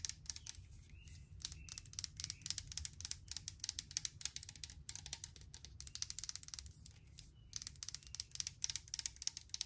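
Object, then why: Aluminum pump bottle. Long nails tap and scratch quickly along the side of a hand-held brushed aluminum sanitizer bottle with a pump top and liquid inside. The result is dozens of rapid, bright, dry clicks with almost no ring, running in dense bursts over a soft low rumble.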